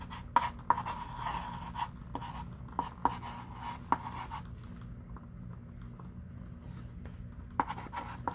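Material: Chalk.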